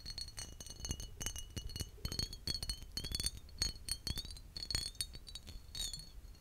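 A large green glass bottle with a heavily textured embossed surface and a metal-capped neck, held in hand and mostly empty, is tapped with short fingertips and nails. Quick, bright glassy clinks ring at a high pitch and die away fast, with a hollow body resonance underneath.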